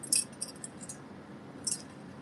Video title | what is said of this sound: Marco Polo Duo Sale Event! Fun Times!￼ | I hear sounds like glass. There's something inside of her